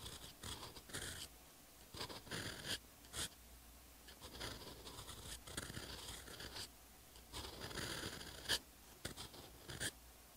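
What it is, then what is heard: Paper page scratched by a pen nib. A steel fountain pen nib writes Korean characters on a textured paper notebook page, making repeated short, bright scratching strokes separated by brief quiet pauses. The nib finally lifts over a blank line on the same page.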